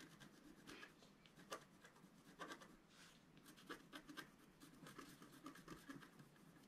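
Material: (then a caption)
Coated paper. A wooden stylus scratches details into the black coating of a flat, thin scratch art paper sheet. The clip is a quiet run of short, dry, rasping scratch strokes with brief bright peaks, separated by softer rubbing.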